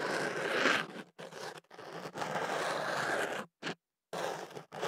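A thin ear pick scratches and scrapes the inside of a hollow white kenaf paper tube wrapped around a microphone, working at its open end. Dry, papery, crinkly scraping comes in uneven bursts with brief silent gaps between strokes, bright and hissy with little low end.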